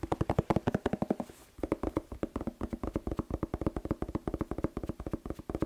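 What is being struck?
Whole bell pepper.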